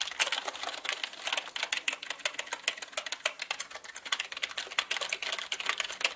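Both hands type quickly with their fingertips on a black mechanical keyboard with plastic keycaps. A dense, steady run of sharp, bright clacks comes through, each keystroke short and dry with almost no low end.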